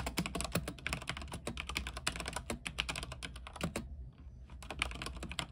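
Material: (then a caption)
Plastic. Both hands type rapidly with their fingertips on a backlit mechanical keyboard with white plastic keycaps on an aluminium frame. It produces a dense stream of short, bright clicks and clacks with a low, steady hum underneath. The typing pauses briefly near the four-second mark, then resumes.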